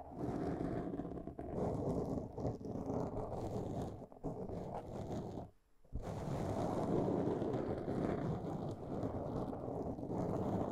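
Long polished nails of both hands scratch and tap a soft, porous black foam windscreen on a microphone. The result is a dense, continuous, muffled rustling and scraping, heavy in the low-mid range. The sound is briefly interrupted by a short drop to near silence just before the six-second mark.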